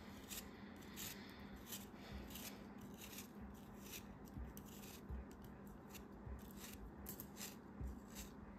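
A craft knife cuts repeatedly through a solid chunk of purple kinetic sand held in the fingers. Each pass makes a soft, crisp, scratchy slice with bright grainy crackle over a low, steady rumble.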